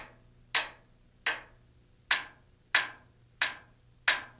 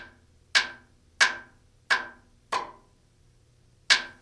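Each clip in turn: First: Six crisp, bright taps with a short high ring; the blade skin sounds solidly bonded. Second: Five short, bright taps on a rotor blade skin away from the spar, sounding hollow and suggesting delamination.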